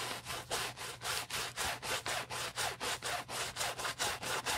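A wooden-handled bristle brush, held in a gloved hand, vigorously scrubs the foamy fabric of an empty beige nylon Prada handbag near the zipper. About 15 rapid back-and-forth strokes come at roughly two per second, each a bright, hissy scratching burst with little low end.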